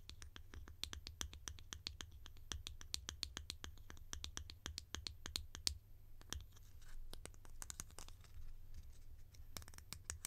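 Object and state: Plastic lid tapped and scratched with fingernails.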